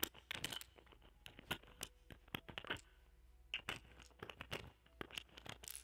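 A small metal spatula with a wooden handle, fitted with a small microphone, scratches and taps a round, palm-sized, solid cluster of purple amethyst points ringed by clear quartz points, resting on green satin. It produces a quiet run of quick, bright, dry clicks and scraping ticks that stop instantly with no ring.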